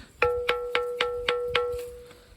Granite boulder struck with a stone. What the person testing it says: ഇത് നമ്മൾ തട്ടി കഴിഞ്ഞാൽ ശരിക്കും ഒരു മണിയുടെ ആ ഒരു സൗണ്ട് കേൾക്കാം